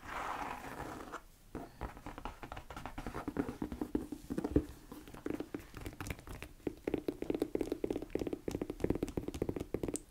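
Long nails tap and scratch the shaft and heel area of a tall beige croc-embossed leather boot, held upright, empty and hollow. After a brief soft rubbing at the start, a dense run of quick, dry clicks and scrapes follows, each with a short hollow knock around 300 Hz. The sound stays fairly quiet throughout.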